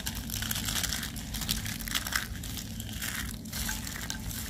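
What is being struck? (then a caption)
Soap curls. A pile of dry pale-green soap curls in a white tray, with a small pinkish soap piece underneath, is grabbed and crushed in both hands into crumbs. The result is a steady, dense, bright crunching and crinkling with short, dry bursts over a constant low rumble.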